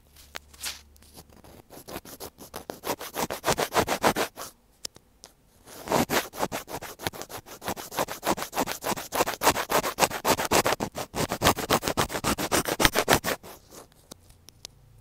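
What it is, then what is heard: Plastic earphone inline mic, scratched. A thin black pointed tool scratches along the casing near the opening of a small, hollow white plastic inline microphone on an earphone cable, held between the fingers. Rapid, fairly regular dry scratching strokes sound bright and crackly. One burst is followed by a short pause, then a longer run that fades out.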